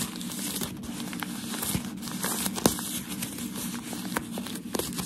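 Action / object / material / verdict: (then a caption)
scrape / thin packaging paper sheet / paper / none. A thin, crinkled sheet of white shoe packaging paper is held in the hands and rubbed and scratched with fingertips and nails. It gives a steady, dense crinkling and rustling, broken by sharper, brighter crackles, with one especially loud snap partway through.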